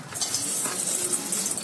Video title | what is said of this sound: What I cooked on Sunday-Easy Chicken Tikka Biryani-step By step guidance | you will hear how crispy they become